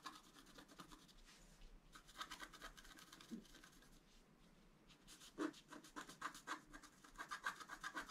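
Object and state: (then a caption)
Scratch art card being scratched. A wooden stylus scratches the floral area between the antlers on a flat black-coated scratch art card lying on a table. The result is quiet, dry, rapid scratching strokes with a bright, papery rasp. The strokes come in short bursts and get louder and denser toward the end.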